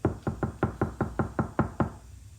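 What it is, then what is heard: Car door panel deadened with sound-damping mat. Ten evenly spaced knocks on the steel door of a Nissan fitted with a sound-deadening mat give short, dull thuds centered low around 90 Hz, each dying away within a fraction of a second. The door sounds solid and damped, with little ring after each knock.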